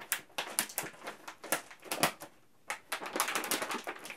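A large yellow printed plastic M&M's candy bag filled with candies is held in both hands and crinkled and squeezed at the top with the fingers. Bright, crisp crackling comes in quick, uneven bursts, stops for a short quiet gap just past the middle, then resumes in a denser run.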